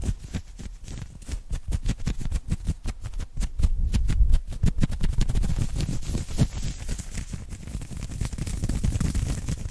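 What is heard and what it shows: Fingertips and short nails of both hands scratch and pinch an open-weave knit cotton polo shirt worn on the chest. The result is a fast, aggressive run of dense, crackling scratches with a heavy low-end thump and short bright rasps, each stroke dying away almost at once.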